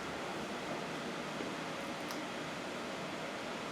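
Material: Nothing is struck.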